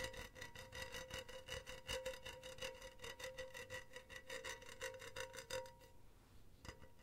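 Long teal nails scratch quickly back and forth over a hollow, empty silver wire-mesh cylindrical pen holder, producing a steady, rasping scrape with a metallic ring near 520 Hz and bright overtones. The scratching stops just before the six-second mark, and the mesh goes mostly quiet apart from one brief sharp tick near the end.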